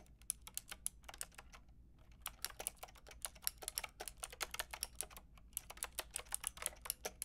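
A white-and-pink Lofree mechanical keyboard with round plastic typewriter-style keycaps and a hollow plastic case is typed on with long painted nails and fingertips. About 40 sharp, bright plastic clicks and clacks come in quick runs, with short pauses near two seconds and five seconds, over a faint low hum. Each keystroke dies away almost instantly.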